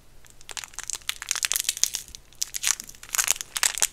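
A small, round, white, ring-shaped hard mint candy in a clear plastic wrapper is held up in the fingertips and squeezed and crinkled by the fingers. A rapid series of sharp, bright crinkles and crackles comes in bursts, each dying away almost instantly, with almost no low end.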